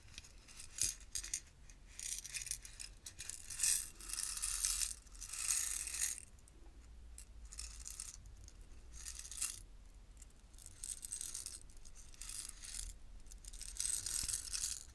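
A tower of five small screw-together clear plastic jars, each partly filled with small glass beads, is held horizontally in both hands with long painted nails on the sides and turned and tilted. The beads shift and rattle inside in bright, hissing swells of clicking that rise and fade, with quieter pauses between tilts.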